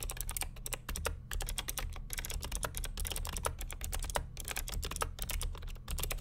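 Fingertips of both hands type continuously on the plastic keycaps of a beige NMB RT8255cw+ vintage mechanical keyboard with Hi-Tek "Space Invader" clicky switches and a hollow plastic case. A rapid, steady stream of sharp, bright clicks with very short decay sits over a constant low rumble.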